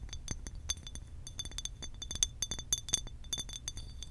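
Long pink acrylic nails rapidly tap a hollow blue glass water bottle with a cap. The taps make a quick string of bright, high-pitched glassy clinks with short, clear ringing tones.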